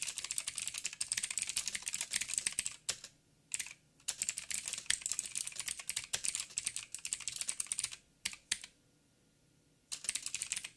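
Fingertips type on a backlit mechanical keyboard with plastic keycaps and blue clicky switches, producing rapid, bright, sharp clicks in dense bursts. The typing stops briefly around the third and eighth seconds, with a longer quiet gap before a final burst at the end.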